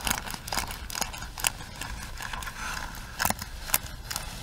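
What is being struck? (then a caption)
Small plastic hairbrush. Long nails scratch across the bristles and body of a small plastic hairbrush, making bright, dry scratching and clicking sounds. Sharp ticks come at an irregular pace over a soft low background hiss.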